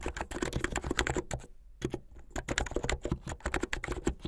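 Fast typing with both hands on a blue full-size mechanical keyboard with white, blue and yellow plastic keycaps and a white backlight. It produces a rapid stream of short, dense clacks with a low thump under bright clicks, pausing briefly near the middle before resuming.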